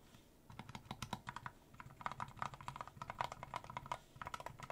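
Fingertips of one hand rapidly tap the keys of a small mechanical numpad with a clear plastic case and cream plastic keycaps. The result is a quick run of crisp, clacky keystrokes, each with a bright click around 1 kHz over a soft low thud, dying away almost instantly. There is a brief pause just before the last flurry of taps.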